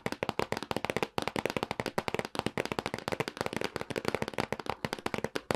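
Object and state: Cardboard box.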